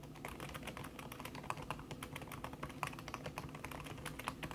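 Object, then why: Aluminium keyboard with silicone key cover. Fast typing with fingertips and long red-painted nails on a thin backlit aluminium keyboard whose plastic keys sit under a red silicone skin. A rapid, continuous stream of soft, dull taps and clicks, centred around 1 kHz with some bright ticks, rises over a steady low murmur. The keystrokes die away almost instantly.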